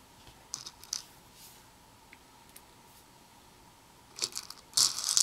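Black tweezers dig and stir through small hollow plastic fuse beads, white and red, in a partly filled red plastic bowl. A few light, bright clicks come at first, then a denser burst of clicky rattling near the end. The sound is high and sharp with almost no low end.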